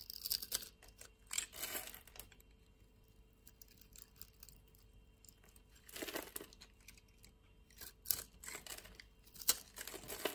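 A utility knife blade scrapes across a solid, hand-sized, grid-scored blue dry soap bar held in a palm with long nails, crumbling small soap cubes off. Dry, bright scraping and crisp crumbling crackles come in short bursts separated by near-silent pauses, with almost no low end.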